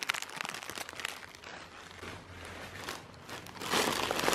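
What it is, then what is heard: Plastic air cushion packaging. A clear, thin plastic air cushion packaging lies on a bedspread and is crinkled and pressed with one hand. Dense, bright crinkling and crackling runs throughout, eases into a softer rustle in the middle, then swells into a louder burst of crinkles at the end.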